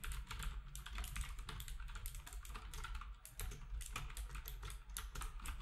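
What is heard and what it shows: Fingertips of both hands type rapidly on a black wireless typewriter-style keyboard with round plastic keycaps and a hollow housing. The result is a dense, fast run of short, bright plastic clicks and clacks over a steady low hum, with each tap dying away almost at once.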